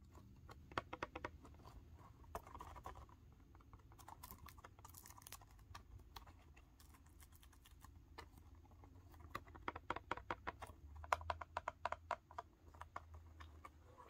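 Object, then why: Cardboard box in plastic shrink wrap. A small sealed Yu-Gi-Oh Ghosts From The Past The Second Haunting booster display box, made of printed cardboard in clear plastic shrink wrap and hollow, presumably full of packs, is held in both hands and tapped and scratched with fingertips and nails on the wrapped surface. It makes quiet bursts of quick, dry, clicky taps with short plasticky scratches over a low background hum. The taps get denser and a little louder toward the end.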